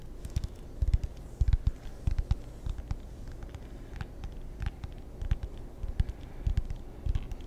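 Fingertips tap on a table tennis paddle with a wooden blade and rubber faces, producing soft, dull, low thuds in an uneven rhythm. Faint bright clicks and light scratchy contact sounds come through between the taps, and each tap dies away almost instantly.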